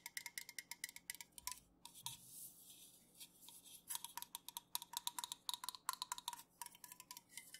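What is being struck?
Aluminum soda can.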